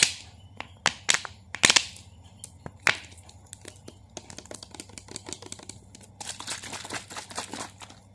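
A small clear plastic Nestlé water bottle, partly filled with water and capped, is squeezed and crinkled with the fingertips and turned in the hands. Sharp, bright plastic snaps ring out over the first three seconds, then give way to quieter, denser crackling that grows busier after about six seconds.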